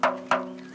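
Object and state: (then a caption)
Sound limestone block, no micro-crack. A limestone block at the Saint-Leu quarry is tapped twice, giving two bright, ringing knocks centered around 640 Hz with steady tones lingering underneath. The clear ring shows the block is sound, with no "poil," the micro-crack that weakens a block.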